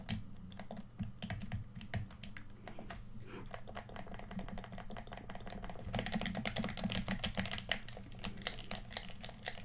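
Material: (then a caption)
Plastic. Fingertips tap the sticks and shell of a hollow red plastic PS4 controller, then click its buttons in a quick, uneven stream of short, dry clicks. A steady low hum sits underneath, and from about six seconds the clicking turns louder and brighter.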